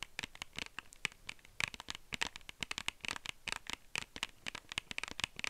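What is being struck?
Small plastic case.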